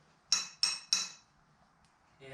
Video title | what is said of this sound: Selling All My Rare Parts For A Once In A Lifetime Ford! | it might be metal sounds like metal